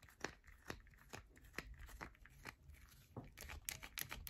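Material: Soap.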